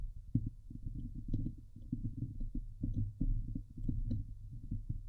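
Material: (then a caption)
Metal mesh. Long glitter nails scratch the hollow, domed wire-mesh metal grille of a Blue Yeti microphone. The result is a steady run of quick, muffled scraping thumps, heavy and low with almost no high end, each stroke dying away almost at once.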